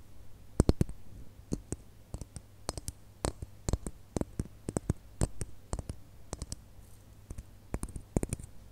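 Long nails tap and scratch the surface of a single small, hollow red glitter plastic Christmas bauble. The result is around thirty sharp, dry clicks at an irregular pace, each bright and snapping off almost instantly. A faint, steady low hum runs underneath throughout.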